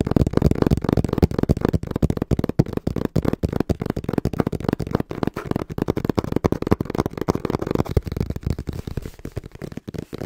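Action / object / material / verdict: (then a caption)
tap / cardboard box / cardboard / none. Fingertips tap fast on the flat face of a small, hollow brown cardboard box held in both hands. The taps come in quick, uneven bursts of dull, low, hollow thuds that stop dead with no ring, filling the whole clip.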